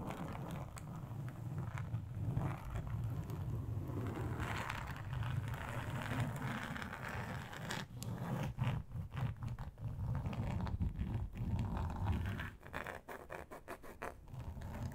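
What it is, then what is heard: Plastic board scratched with nails. Long acrylic nails scratch across a large, flat, grey textured plastic sheet. The result is a steady, low, rumbling scrape with a raspy, zipper-like texture. Toward the end it breaks into rapid, separate scratching strokes.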